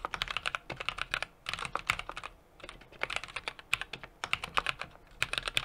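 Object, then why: Mechanical keyboard with metal case and plastic keycaps. A 60% mechanical keyboard with an aluminum case, brass plate and plastic keycaps is typed on continuously by both hands, fingertips pressing the keys. The result is a rapid stream of short, bright clicks and clacks with almost no low end, pausing briefly twice.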